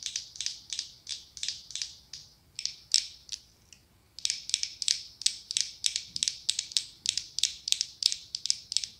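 Long acrylic nails tap and scratch the glass lid and ribbed body of a medium pumpkin-shaped glass jar filled with orange wax. Quick, bright, crisp clicks and scrapes come in rhythmic bursts, with a short pause in the middle before the tapping resumes. There is almost no low end or ring.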